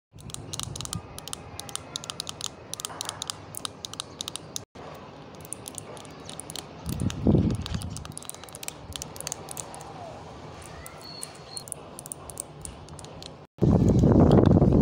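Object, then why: Small heart-shaped plastic box. A small, hollow, pink, glossy plastic heart-shaped box, held on a windowsill, is tapped and scratched with long painted nails. The result is quick, dry, clicky taps with short bright ticks and low, hollow knocks, plus brief scratching swells. It ends in a louder, dense rustling burst.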